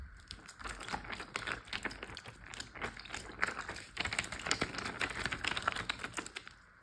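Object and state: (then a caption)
Water-filled plastic zip bag. Fingertips and nails tap rapidly on a large clear plastic Ziploc bag full of water. The result is a dense, steady run of soft, crinkly clicks and taps with a bright edge and almost no ring. The taps grow slightly busier and louder toward the end before easing off.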